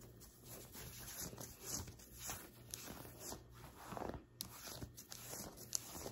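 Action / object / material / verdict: scrape / cotton t-shirt scratched with fingernails / cotton / none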